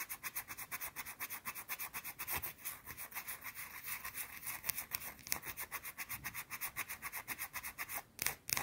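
Long blue nails rapidly rub and scratch a small, round, flat, solid white soap bar held in the hand. About thirty quick, bright, rasping strokes repeat at roughly four per second, with little low end. A brief pause near the end is followed by a few louder scrapes.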